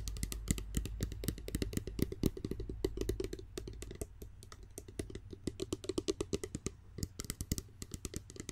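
Long nails tap and handle a clear, medium-sized, partly filled spray bottle with a pump cap that looks like hollow glass, held close to the microphone. Rapid, irregular clicking taps, about four per second, ring briefly over a steady low hum. A quieter stretch of lighter handling in the middle gives way to sharper tapping again.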